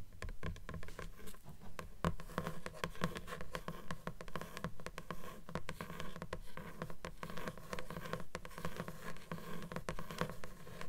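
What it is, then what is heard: Paper book page edges, tapped and scratched. Long nails tap and scratch along the paper page edges of a closed blue book, its pages a solid stack. A dense run of quick, soft, dry taps mixes with papery scratching, each tap dull and very short with no ring. The sound stays low and muffled throughout.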